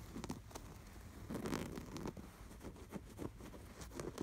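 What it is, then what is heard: Canvas pillow with sweater appliqué. Fingertips scratch and rub across the appliquéd sweater design on a stuffed, embroidered canvas pillow. The result is a quiet, dry patter of soft scratches and rustles, with brief crackly strokes that carry some high, bright edges over a muffled low body.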